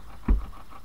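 A single dull, low thud as the earth ground over a bunker is tapped, its energy concentrated below 200 Hz around a 59 Hz pitch and dying away almost at once. The ground sounds hollow, as if there could be a gallery underneath.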